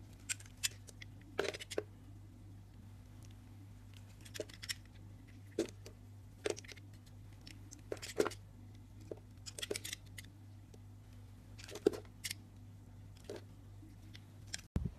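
A yellow-handled craft knife scrapes and carves a pink-purple solid soap bar with raised circles, held by fingers with dark painted nails, shaving the pattern off until the surface is smooth. Short, dry, crisp scraping and cutting sounds come in scattered bursts over a steady low hum.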